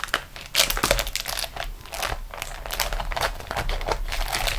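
A flat beeswax-coated cotton food wrap is rolled and pressed under fingertips and long nails on a table. The sheet gives a steady run of dense, bright crinkling and crackling as it bends, with louder bursts near the start over a constant low rustle.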